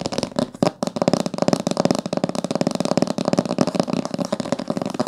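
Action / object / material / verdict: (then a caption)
tap / hardcover book with coated board cover / coated board / none. Long nails tap quickly on the top of a thick, solid blue-green hardcover book with a coated board cover and a gilt-decorated spine, lying closed on a table. The result is a rapid, steady stream of dry, clicky taps with a hollow midrange knock and almost no ring.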